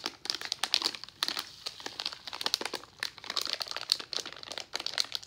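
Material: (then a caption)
Plastic foil. A pink resealable plastic foil pouch of Nerds Gummy Clusters, full of candy, is held and squeezed with the fingertips. It gives a steady run of bright, sharp crinkles with quick snaps and no low end.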